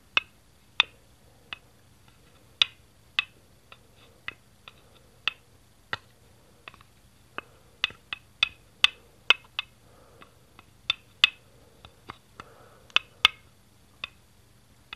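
A single small, hollow green plastic Duplo brick is tilted and tapped with fingertips on the floor beside a green baseplate. About twenty sharp, dry plastic clicks come at irregular intervals over fifteen seconds, each bright with a tone near 2.6 kHz. Every click dies away almost instantly, with faint quiet between them.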